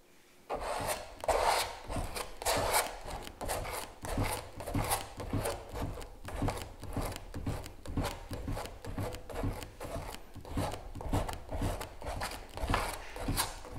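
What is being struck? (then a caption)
Metal palette knife on stretched canvas with gel medium. A metal palette knife spreads and scrapes white gel medium over the surface of a large stretched canvas print. Soft rasping, rubbing strokes repeat in an uneven rhythm, roughly 100 per minute, each with a short broadband scratch and little ring.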